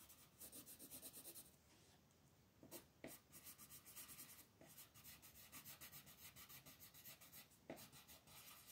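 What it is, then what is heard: Colored pencil shading on paper. A green wooden colored pencil rubs back and forth across a flat, thin paper coloring page in shading strokes. Quick, even scratchy strokes carry a bright, dry rasp, pause briefly, then resume with a few sharper scrapes mixed into the steady rhythm.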